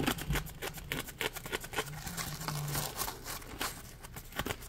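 Fingertips flick and scratch the ridges of a solid, palm-sized yellow ridged polymer foam Scrub Daddy sponge. The result is a rapid, irregular series of short, bright scratchy taps and crinkly rasps, each dying away almost instantly, over a faint low hum.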